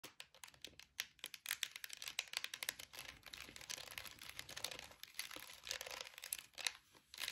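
Long acrylic nails tap and scratch the ridged sides of a small orange plastic air freshener jar with a flower-shaped lid, full of orange gel beads. The result is a quiet, dense run of quick, bright clicks and crinkly, scratchy rasps that stop almost instantly, with almost no low end.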